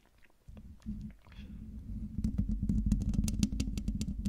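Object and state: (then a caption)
Metal mesh microphone grille. Long dark-painted nails of both hands scratch and tap the hollow metal mesh grille of a silver Blue Yeti microphone. Soft scratching starts with a low, boomy hum around 200 Hz. Then quicker, sharper taps, about four per second, add bright clicks over the low thud.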